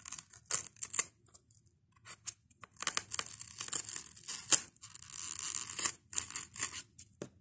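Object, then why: Expanded polystyrene foam block. Fingernails scratch and pick at the beaded edge of a white expanded polystyrene foam block held next to a microphone. The result is a series of short, bright, high-pitched scratchy crackles and squeaks, broken by brief silences, with one longer continuous scrape near the end. There is almost no low end.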